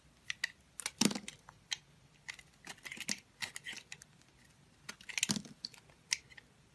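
A solid oval green soap bar held in the hand is scraped and carved with a metal utility blade while long pink nails touch it, and green shavings fall onto a cloth. Quiet, crisp scrapes and ticks come in short, bright bursts with very little ring. Two louder, fuller crunches stand out near the first second and again near the fifth.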